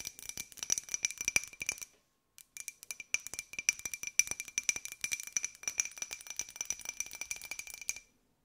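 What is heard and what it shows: A small, hollow, empty white ceramic jar with a pink and gold pineapple print is tapped quickly with long nails. It gives a rapid flurry of light, bright clinks with a faint high ring near 2.4 kHz. Each tap dies away almost at once, with a brief pause about two seconds in.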